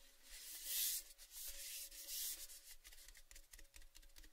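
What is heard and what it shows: A tall, hollow, empty orange-painted metal Baileys gift tin tube is held in both hands while fingertips rub and tap along its painted side. Two bright, hissy rubbing swells are followed by a run of lighter, scratchy taps. A faint steady tone sits underneath throughout.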